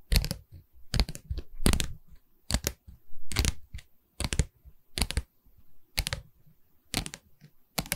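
Long red nails tap and scratch along a pine stretcher bar on the side of a canvas board held in the hands. Quick clusters of dry, clicky taps with bright edges and dull low knocks come at an uneven pace, with soft scratching between them. Each tap dies away almost at once.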